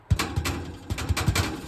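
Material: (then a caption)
Bread. Seven knocks on the crust of a sandwich loaf in its pan after 30 minutes of baking, made to check whether it sounds hollow. Each knock is a short, dull, low thud with almost no ring. The loaf sounds hollow, showing the bread is done and ready to come out.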